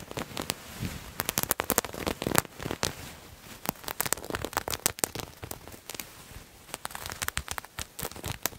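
Fingernails scratch at a purple paisley fabric garment held in the hands, making dense, crackly scratching and rustling. Short sharp bursts cluster irregularly over soft, bright fabric noise, each stopping dry with almost no ring.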